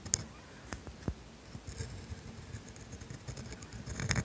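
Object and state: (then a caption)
Steel dip pen nib scratching on grid paper. A steel dip pen nib drags across flat, thin grid paper, writing the word "made." Quiet, scratchy strokes are broken by sharp ticks as the nib lands and lifts, with bright, high squeaks near the start and end.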